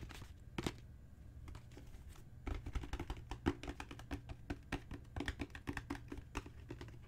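Long natural fingernails and fingertips tap on a solid, dark brown genuine leather book cover with raised spine bands. A single tap is followed by a pause, then rapid, dull tapping with short clicks and soft low thuds runs to the end over a faint low hum.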